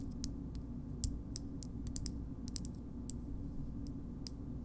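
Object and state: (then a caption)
Frosted glass cosmetic jar. Long nails tap the base and side of a small pink frosted glass cream jar, making short, bright, crisp clicks scattered at a slow, uneven pace. Each tap is dry and dies away almost instantly over a steady low background hum.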